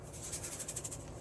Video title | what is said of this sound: Replacing my Rivian cabin air filter with a HEPA version | if you shake it you can hear the carbon uh crystals